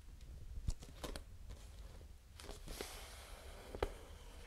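A full, clear plastic water bottle held close to the mic is tapped and scratched with fingernails. Sharp hollow clicks stand out over a steady low rumble, with bright, scratchy rustling between them.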